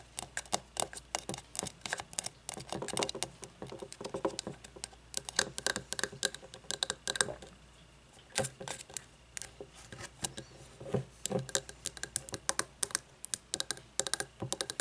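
A frosted glass candle jar, without its lid and filled with wax, is turned in the hands and tapped on the glass with long fingernails. Quick, bright clicking taps come in dense, irregular bursts, each dying away almost at once, with a brief quiet pause just before the middle of the clip before the tapping resumes.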